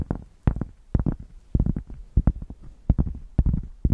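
Long painted nails scratch a solid, thick, hand-sized square cork board held in one hand near fluffy microphones. A series of quick strokes produces deep, bassy, rumbling scrapes centered around 74 Hz, each one dying away almost at once between short pauses.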